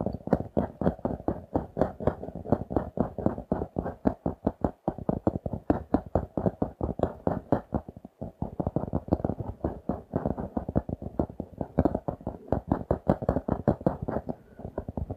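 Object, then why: Laminated cardboard notebook cover. A notebook with a glossy laminated cardboard cover, held in both hands, is rapidly tapped and scratched with fingertips and nails. Dense, dry, short taps and scratches fill the low and middle range and die away almost instantly, with little high brightness. The rhythm pauses briefly around the eight-second mark before continuing.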